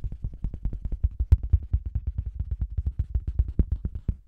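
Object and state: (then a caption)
Faux leather cosmetics bag, tapped. Fingertips and long green nails tap a round, hollow faux-leather cosmetics bag with a microphone inside, then a flat hand rests and rubs on its red printed front. About 36 quick, deep, boomy thumps come in a fast, uneven stream, each dying away almost instantly with no bright edge.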